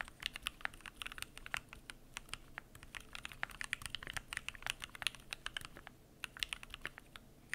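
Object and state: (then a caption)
Mechanical keyboard with plastic keycaps. Fingertips type continuously on a Keychron Q1 aluminum mechanical keyboard with PBT plastic keycaps. The result is a rapid, uneven stream of about 47 short, bright clicks and clacks that stop almost instantly. A faint low background hum runs beneath them.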